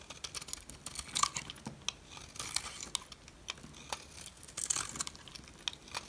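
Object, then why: Bar of soap scraped with a metal blade. A metal blade scrapes a solid white, rectangular dry soap bar with an embossed logo. It makes a rapid run of dry, crisp scratching and crackling clicks, bright and sharp with almost no low end. Louder bursts rise out of a steady rasp as the blade shaves the soap.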